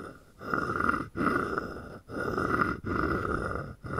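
A wooden stick is scraped and tapped along the ridged back of a palm-sized, hollow carved wooden frog guiro. It makes a series of long, rasping, croak-like strokes separated by brief pauses, with a hollow woody tone centered in the midrange.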